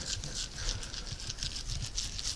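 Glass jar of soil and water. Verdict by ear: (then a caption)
Gravelly. A jar of soil and water from a sandy spot is shaken, giving a steady patter of gravel rattling inside, with a crisp high-pitched hiss over low, sloshing thumps. The rattle shows this sandy soil sample holds a lot more gravel than the clay sample.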